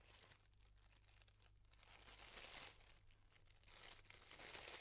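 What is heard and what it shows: A yellow tissue paper flower is held in the hands while its thin layers are pulled apart with fingers and nails. It makes soft, bright, continuous crinkling and rustling that swells louder in bursts, over a faint steady low hum.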